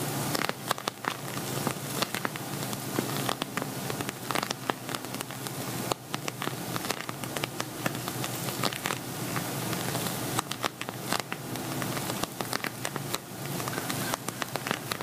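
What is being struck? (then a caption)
Vinyl cosmetic bag with glitter surface. Fingertips and fingernails, spread apart, tap rapidly on an empty, hollow silver glitter vinyl cosmetic pouch. The result is a dense, steady patter of short, dry, crackly clicks with a bright top and little low end, briefly thinning just before the 6-second mark.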